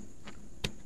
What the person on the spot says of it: Kalau bunyi dia lembut, itu bukan kayu dia lah.